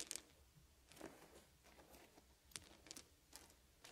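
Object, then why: Small wooden beads. Fingers pick up small, solid wooden beads and arrange them into piles. Light, bright clicks and soft rattles sound in short, separate bursts with quiet rustling between them.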